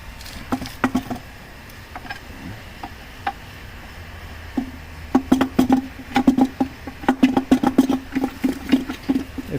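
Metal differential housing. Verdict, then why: Empty. A failed metal rear differential housing from a 2013 Cadillac CTS 3.0 RWD is handled and shaken, producing sparse, irregular rattles and clunks that come faster and louder in the second half. The short, dry knocks, with a low tone around 260 Hz, sound like loose metal inside a housing that sounds empty, left with no fluid after it was installed without any.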